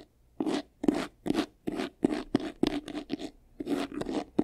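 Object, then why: Faux leather covered vanity case. Fingernails scratch quickly along the front and side edges of a medium, hollow, white textured faux-leather vanity case. The sound is a fast series of separate, dry, raspy strokes, each a brief bright burst with a low hollow tone underneath and almost no ring between them.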